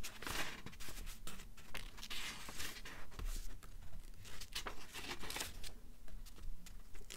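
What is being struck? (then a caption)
Paperback book paper pages. Long nails scratch across the paper pages of an open paperback novel lying on a stack of books, and pages are flipped. The clip has dry, crinkly scratching and rustling in quick irregular bursts, with bright papery swishes over a low rumble.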